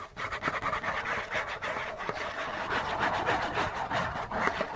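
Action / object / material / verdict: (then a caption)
scrape / printed cardboard tissue box / cardboard / none. Fingernails and fingertips scratch quickly and aggressively across a hollow Kleenex tissue box made of printed cardboard. The result is a dense, continuous rasping and scraping in rapid overlapping strokes, with a papery midrange and bright edges.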